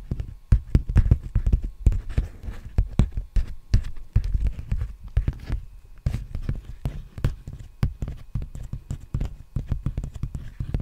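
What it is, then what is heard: Empty plastic bubble mailer. Fingertips tap and scratch the surface of a large, empty black poly bubble mailer envelope held upright. The result is a rapid, irregular stream of soft, dull thumps, almost entirely low in pitch and dying away almost at once, mixed with faint scratchy rustling.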